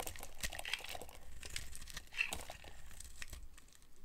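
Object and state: Dry soap bar being carved.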